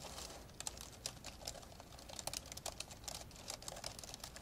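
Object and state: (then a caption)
Plastic laptop keyboard typing. Both hands type fast on the plastic keys of an old, open, dark grey plastic laptop, with an untouched microphone hanging above. Quick, bright clicks and taps follow one another over a quiet, low hiss. Each tap stops almost at once with no ring.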